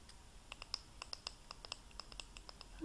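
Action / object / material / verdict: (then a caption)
scrape / painted wooden carpenter pencil / wood / none. An orange-lacquered wooden carpenter pencil, flat, solid and about 18 cm long, is held in front of a box of pencils and scratched and tapped along its length with long painted fingernails and fingertips. Quiet, bright little clicks and scratches come in a loose, uneven run. The clip ends with a louder, lower thump.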